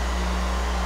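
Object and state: Nothing is struck.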